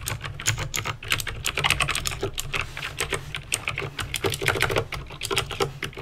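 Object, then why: Plastic mechanical keyboard. Fingertips with painted nails type rapidly on a backlit plastic mechanical keyboard with clicky green switches, producing a dense stream of sharp, bright clicks and clacks. A steady low hum sits underneath the continuous typing.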